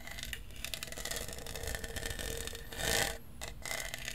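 Fingernails scratch and tap the studded surface of a hollow lavender plastic tumbler with a straw. The result is a steady, dense, bright rasping texture with a faint tonal ring near 1.75 kHz and a louder, brighter scrape swell around the three-second mark.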